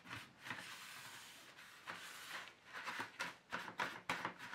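Fingers firmly rub and scrub the inner surface and slots of an empty black plastic paint tray insert with a tissue. Irregular bursts of bright, hissy friction mix with squeaky scraping over a quiet background, each stroke swelling and fading quickly.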